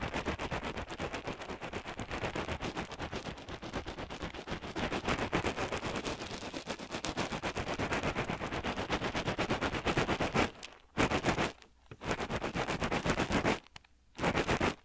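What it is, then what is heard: Pellet-filled crocheted hacky sack. A small crocheted yarn hacky sack filled with pellets is held at the left ear of the microphone and squeezed rapidly with the fingers, crunching the filling. A dense, steady, broadband crackling crunch runs for about ten seconds, then breaks into short bursts separated by brief silences near the end.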